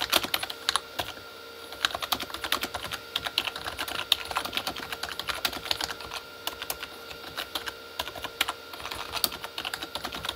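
Both hands type fast with their fingertips on a full-size Corsair K35 plastic mechanical keyboard with red-backlit plastic keys. A dense, continuous stream of sharp, bright, clacky keystrokes with almost no low end, each click dying away instantly, runs over a faint steady background hum.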